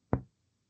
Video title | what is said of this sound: Vídeo de tórax | Ese es claro pulmonar